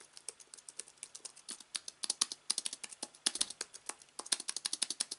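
A slim aluminium wireless keyboard with white plastic keys lies on a fabric surface while both hands type rapidly with their fingertips. About three dozen short, dry, bright clicks come in a quick, uneven stream, with almost no low end and no ring after each press.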